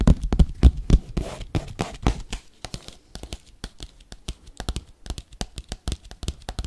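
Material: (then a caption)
Paper. Metal paperclips worn on the fingertips rapidly scratch and tap a flat, empty yellow kraft paper padded bubble mailer. Dense crinkly, papery scratching at the start gives way to a fast, uneven run of short, dry taps, about four per second, each with a soft low thump and almost no ring.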